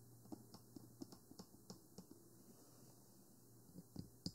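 Fingertips and nails tap the lower body and white silicone ears of a 3Dio Free Space binaural microphone, a small hollow black plastic box on a stand. About eleven soft, dull, quick taps land in an irregular rhythm, pause for over a second, then resume with a few firmer knocks near the end. A faint steady low hum sits underneath.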